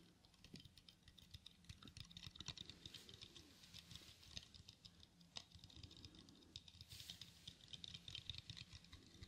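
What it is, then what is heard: Plastic eyeglasses frame being handled. Small black plastic-framed eyeglasses are held in both hands close to the microphone while fingertips fold the temples and click the hinges. The result is a quiet, continuous stream of rapid, crisp plastic clicks and taps with a bright, ticking edge and almost no ring, over a faint low hum.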